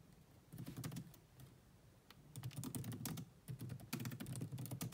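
Two hands with long nails type on the black plastic chiclet keyboard of a grey laptop, producing quick, irregular bursts of key taps with short pauses between them. Each tap is a soft, low thud with a bright click on top.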